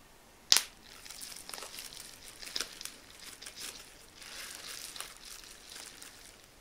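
A clear plastic bubble wrap sheet is held in front of the chest while individual air bubbles are squeezed and popped between thumb and fingertips. One loud, sharp snapping pop is followed by quieter pops and soft, bright crinkling of the plastic.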